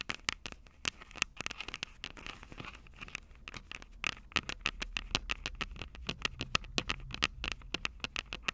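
Long purple nails scratch, tap and rub the metal microphone capsules of an upright Tascam DR-05 recorder. A rapid, irregular run of sharp, dry clicks and scratchy rasps sounds close and bright, with a faint ring near 2.7 kHz. Each tick cuts off instantly, with a soft rubbing hiss between them.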